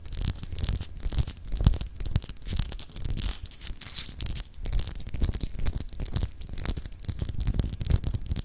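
Long acrylic nails scratch across a palm-sized solid clear glass globe paperweight with an etched texture, held in the hands. The result is a steady, irregular stream of quick, dry scraping strokes with bright, hissy highs over low, muffled handling rumble.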